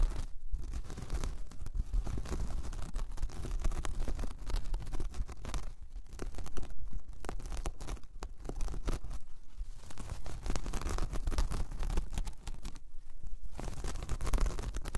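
A large, flat, solid round coaster of braided jute or straw is scratched with long painted nails. The result is a continuous, dense rough scratching and crinkling texture with brief pauses, carrying a strong low rumble underneath.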